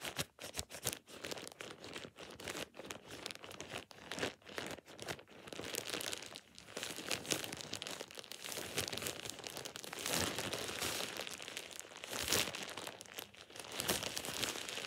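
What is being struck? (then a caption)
Thin plastic shower cap. A thin, empty plastic shower cap with an elastic rim is squeezed and scrunched in a fist with fingertips and nails. It makes bright, crisp crinkling and crackling, in short choppy bursts at first, then a denser, more continuous rustle.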